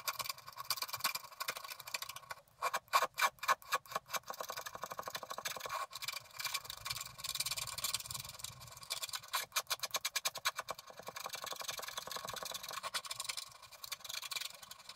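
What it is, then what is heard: Scratch art card being scraped. A wooden stylus scrapes the last black areas at the top of a flat scratch-art paper card in fast strokes. Quick bursts of bright, dry scratching follow one another closely, with a few steadier stretches of fine rasping between them.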